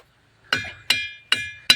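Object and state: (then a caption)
Ringing rock (musical stone). A rock boulder at a ringing rocks park is struck four times, and each hit gives a bright, bell-like metallic clink. The tone has strong high overtones and a short ring that fades between strikes. The stone rings like a bell, and the sound is presented as music.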